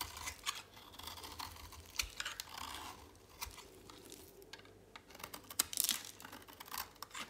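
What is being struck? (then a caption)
Soap bar shaved with a blade. A solid, dry pink soap bar held in a hand is shaved with a utility knife blade. The quiet clip is full of crisp, bright scraping and crackling strokes, with short sharp ticks as the blade bites and flakes the soap.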